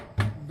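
A short tap on the side of a metal feed bin holding about 30,000 pounds of chicken feed, checked by ear during the weekly feed inventory. Two dull, low knocks are heard with a brief ring, the dull sound marking where feed fills the bin rather than an empty, hollow ding. It shows the feed level is at about six.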